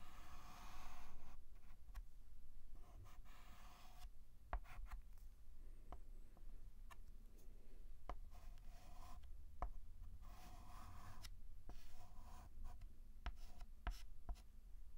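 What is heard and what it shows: A white chalk stick draws long outline strokes across a flat black chalkboard, scraping the board in soft, rasping bursts. Short sharp ticks of chalk contact are scattered between the strokes over a quiet, low background hum.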